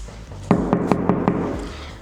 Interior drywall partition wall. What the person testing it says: you can hear that this wall is made of cardboard